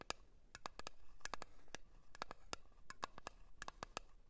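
A blue cream jar is tapped in a quick, uneven run of short, sharp clicks, each with a bright tick around 1.3 kHz that dies away almost instantly. The taps are soft and close, over a low, quiet background hiss.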